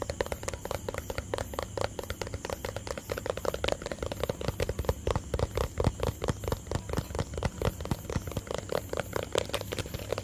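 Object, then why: Small plastic tub. A small hollow white plastic tub is tapped and scratched with fingertips and nails close to the mic. Rapid, light, dry taps with a short hollow knock run continuously over a soft scratchy texture and a steady low rumble, with no ringing after each tap.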